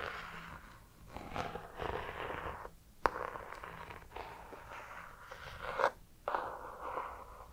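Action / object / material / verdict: scrape / hardcover notebook with embossed cover / cardboard / none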